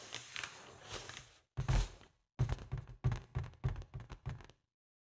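Long acrylic nails scratch across a large, inflated white foil (mylar) balloon, which is hollow and air-filled, making a soft, hissy rustle. This is followed by a series of quick, irregular taps that come out as dull, low thunks with a short ring.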